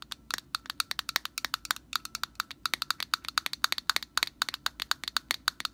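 Long nails tap and scratch the orange hollow plastic cap on a metal aerosol can, making a rapid run of 44 short, dry clicks. Each click is sharp and bright, centered around 1.5 kHz with no low end, and dies away instantly.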